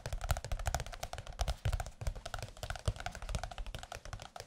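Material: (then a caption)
Paper. Fingertips tap quickly and steadily on the cover of a large blue glossy softcover music book. Each tap is a short, dull, low thud with a faint brighter click that dies away at once, with no ringing.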